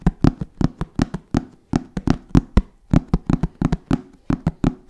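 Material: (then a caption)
Fabric-covered shell. Fingertips tap a hollow, black fabric-covered hard-shell zip case in a quick, uneven rhythm of 23 distinct taps. Each tap is a dull, hollow knock centered low, around 250 Hz, with a soft bright edge and almost no ring.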